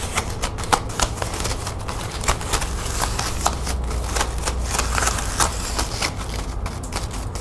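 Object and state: Plastic ribbon gift bow.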